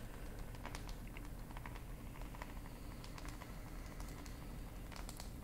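Long acrylic nails tap and scratch the screen and back of a black glass and plastic smartphone held in hand. Light, irregular clicky taps and faint scratches sit over a steady low rumble at a quiet level.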